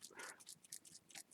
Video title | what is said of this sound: Shower descale Part 2 | when you shake it it doesn't uh rattle around like gravel in the bottom of the boiler